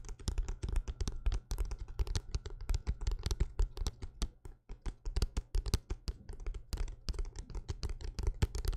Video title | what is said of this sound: ASMR LIVE Tingles - ASMR Soldier | the book tapping to me sounds almost like thick rain falling on a windowsill or on a metal roof